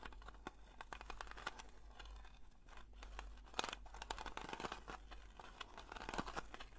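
Long nails slowly scratch the lid and side rim of a round blue metal Nivea cream tin. The sound is a quiet, dry rasping with many short, bright scrapes and taps that die away almost instantly, over a steady low hum.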